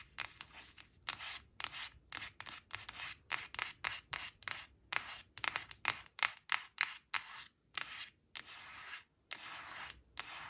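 Long acrylic nails rapidly scratch and rub across the glossy face of a thin, flat laminated cardboard flash card printed with leaves, resting on a woven cloth. A quick series of short, dry, bright scraping strokes with brief silent gaps, almost no low end, and no ringing after each stroke.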